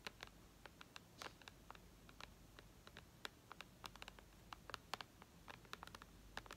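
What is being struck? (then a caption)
Tablet glass screen. Long red nails tap and scratch the glass screen and upper edge of a white iPad resting on lace. The result is a quick, irregular run of sharp, bright clicks with no ring, over a faint low hum.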